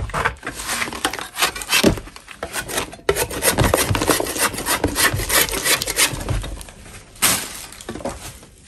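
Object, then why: Natural chalk block scraped with a metal blade. A metal spatula scrapes a solid lump of natural chalk, its blade edge shaving the soft surface. The result is a run of dry, gritty, irregular scraping strokes with a bright crumbly rasp and short bursts of louder shaving.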